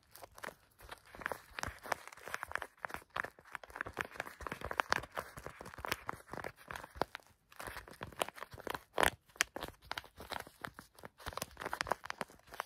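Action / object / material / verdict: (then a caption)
scrape / plastic stand-up pouch filled with bath salts / plastic / none. Fingertips squeeze and scratch a clear plastic stand-up pouch full of bath salts. The result is a quiet, steady stream of dense crinkling, scratching and crunching, with short sharp bursts centred around 1 kHz, bright upper edges and almost no low end.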